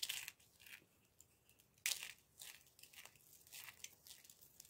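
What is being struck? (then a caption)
Green bar soap shavings. Small, dry, crumbled bits of green bar soap are squeezed and crushed between fingertips and palms over a pile of the same shavings. The result is bright, gritty crunching and crinkling in irregular bursts, with the loudest crush near the two-second mark.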